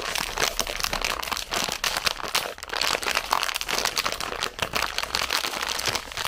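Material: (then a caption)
Plastic. A full red plastic zefir bag is held up, then crinkled and squeezed with fingertips and long nails. The result is a continuous, bright crackling rustle of dense, overlapping crinkles with almost no low end.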